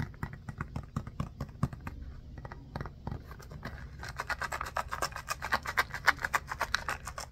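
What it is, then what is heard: Rubber mini basketball. A small orange textured rubber mini basketball is held in both hands while fingers rub and scratch its pebbled surface. A quick, uneven string of short dry scratches plays over a soft low rumble, turning brighter and louder in the second half.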